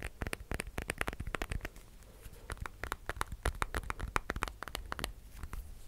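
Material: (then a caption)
Glass and plastic. A black glass-and-plastic smartphone with a glass screen and a case is held in both hands close to the mic while fingernails rapidly tap and scratch its screen and back. The result is a fast stream of sharp, dry clicks and ticks, each with a soft, low thud, plus faint scratchy rustling between them. The taps thin out briefly around the two-second mark before picking up again.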